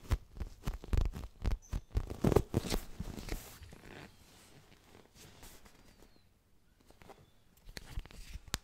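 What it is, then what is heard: Phone case, fingertip tapping. Fingertips tap quickly on an Ideal of Sweden phone case, producing short, dry, low-heavy taps in an irregular patter. The tapping is dense and loudest in the first few seconds, fades to quiet soft rustling through the middle, and picks up again with a few sharper taps at the end.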